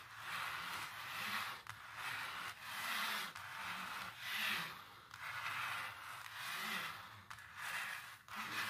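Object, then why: Textured painted canvas. Long nails and fingertips scratch and rub across a large textured painted canvas. Repeated drawn-out strokes make a bright, dry, papery hiss that swells and fades with each pass, with almost no low end.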